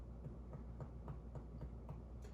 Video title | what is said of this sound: March 20, 2023 | Tympani, exactly what we expect to hear, because that is an organ that's hollow. Hollow organs depict the sound of tympani